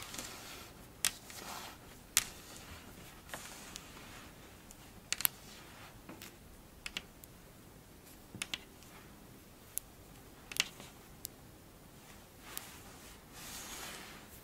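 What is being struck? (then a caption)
Kinetic sand scratched with fingernails. Long blue ombre fingernails scratch and squeeze a textured pile of pink kinetic sand, making a soft, bright, crunchy hiss. About fifteen sharp, short clicks stand out from the quiet grainy rustle.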